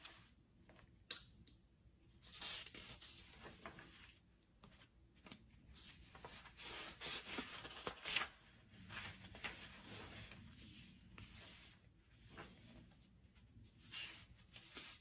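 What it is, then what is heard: Paperback book pages being turned. Fingertips slide over the paper pages of a thick open paperback book lying on a wooden table, turning them one by one. Soft, bright papery swishes and rustles come in quiet, irregular bursts with brief sharper crinkles.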